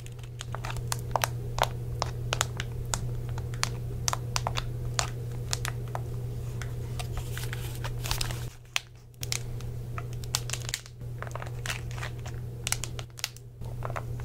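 Fingertips press and tap the dark rubber keys of a chatpad attached to a hollow, handheld white plastic Xbox 360 controller, along with its buttons, while the hand handles and turns the controller. A steady stream of quick, dry clicks and soft taps rises over a constant low hum, with brief quieter pauses near the end.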